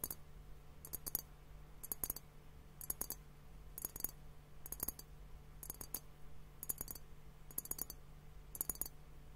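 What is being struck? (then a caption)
Glass hourglass timer filled with liquid. A fingertip and nail tap on both bulbs of a clear, hollow glass hourglass liquid timer partly filled with pink liquid and bubbles. Quick clusters of two or three short, bright clicks repeat about once a second, each dying away almost instantly. A steady low hum runs underneath.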